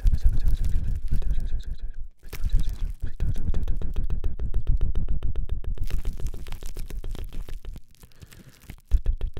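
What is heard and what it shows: A single small wad of crumpled clear plastic cling wrap is held in the left hand close to a microphone while the right fingertips and nails scratch and squeeze it. Dense, irregular crinkling and crackling comes through with heavy low rumble from the handling and bright crackles on top. The sound briefly dips quiet twice before resuming and ends with a louder burst.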